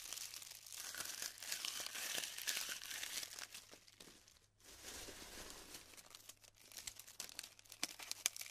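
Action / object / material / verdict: scrape / glued polystyrene foam bead clusters / polystyrene foam / none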